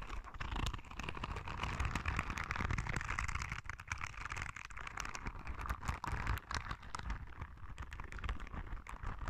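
Long red nails scratch along the spikes of a palm-sized, yellow soft rubber spiky sensory ball. The result is a steady, dense stream of quick scratchy ticks and soft rubbery patter over a low, muffled rumble, with a brighter rasp running through the middle.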